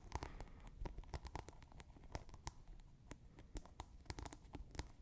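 Long nails quickly scratch and tap the rim and top of a plastic scent pod capping a clear glass bottle partly filled with water. The result is a dense run of sharp, dry clicks and scratchy crackles that stop short over a low rumble.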